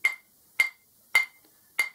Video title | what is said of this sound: Back to basics Grinding Wheels | with the plastic part just tap the wheel it should ring like that